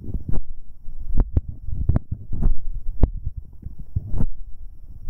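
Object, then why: Metal microphone capsule. Fingertips in rubber finger cots rub directly on the right metal capsule of a binaural microphone. The result is a dense, low, thumping rumble with soft scratchy swishes and several sharper taps that flick up brightly. Almost all of the energy sits below 200 Hz.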